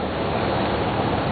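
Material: Nothing is struck.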